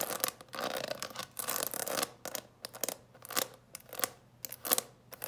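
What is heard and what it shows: Long nails scratch and tap across the closed lid of a clear plastic coffin-shaped box full of candies. A dense, bright scratching rasp fills the first two seconds, then gives way to a series of short, crisp taps and brief scrapes on the plastic with quiet gaps between them.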